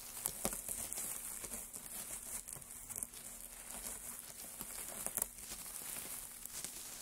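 Gloved hands dig into, scoop and rustle a pile of thin, dry wood shavings resting on a dark surface. A soft, continuous crinkling patter is heard, mostly bright and airy, with a few sharper crackles standing out. The overall sound stays quiet and close.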